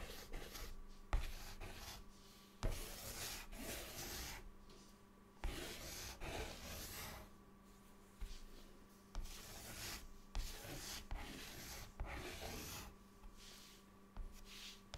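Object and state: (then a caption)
Chalk on a chalkboard. A white chalk stick makes loopy scribbles across a large, flat, solid dark chalkboard. Bright, scratchy rubbing strokes come in uneven bursts, with a low steady hum underneath. About thirteen sharp onsets mark new strokes.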